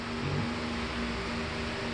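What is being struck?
Nothing is struck.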